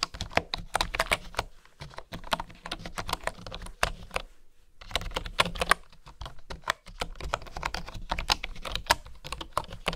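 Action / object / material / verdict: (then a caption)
tap / bamboo keyboard / bamboo / none. Fingertips with nails type on a full-size keyboard with a solid bamboo body and flat bamboo keys. Quick, bright, dry clicks come in bursts with brief pauses near two and five seconds, over a faint low hum.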